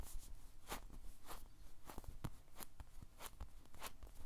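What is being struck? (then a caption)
Polyurethane foam squishy toy. A white-and-teal, animal-shaped squishy toy made of solid soft polyurethane foam is held in one hand and squeezed and tapped with the fingertips. It gives a quiet series of soft, short, brushy rustles and muffled taps with airy bright edges over a faint low rumble.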